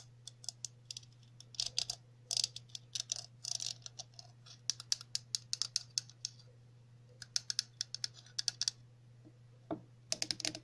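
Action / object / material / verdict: tap / plastic cap tapped with long fingernails / plastic / none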